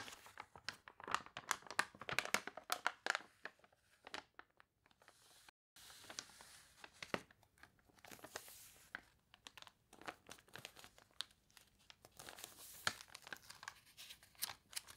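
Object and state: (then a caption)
Glossy paper catalog pages. The glossy pages of a paper toy catalog crinkle and crunch as a warped page is turned and flattened, and long nails scratch across the paper. Dense, bright crackles and short rasping scrapes fill the quiet clip, with a brief silence near the middle.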